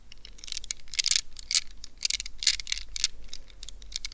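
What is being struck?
Rubber stress ball with a net covering.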